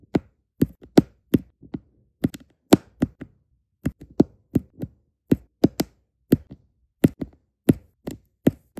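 Small solid resin diamond painting drills are placed onto an adhesive canvas by tapping them down with the tip of a plastic drill pen. A steady series of repeated light, dry taps sounds, each a short click that stops almost instantly with no ring.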